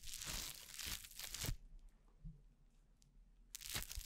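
Orange crunchy foam-bead slime (floam) is torn, kneaded and pressed by fingers with painted nails right beside the mic. Dense, bright crackling and crunching bursts fill the first second and a half, then fade to faint scattered crackles and a low hum before another sharp crunchy burst near the end.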